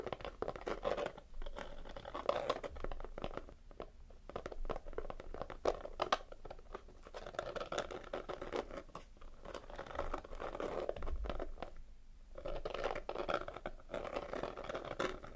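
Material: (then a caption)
Cardboard. Fingertips and short nails tap and scratch the sparkly front of a small, hollow, red glitter-coated cardboard gift box, held upright in both hands with its lid closed. The result is a quiet, steady stream of dry, crackly scratches and soft taps, mostly in the midrange. Brief pauses break it into bursts, and each tap dies away almost at once.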